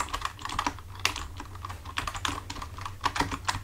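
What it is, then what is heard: Plastic computer keyboard being typed on. Both hands type with fingertips on a full-size black plastic computer keyboard resting on a desk, making a steady stream of quick, light clicky taps with bright tops. A low, constant hum sits underneath the typing.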